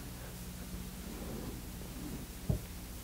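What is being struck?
Nothing is struck.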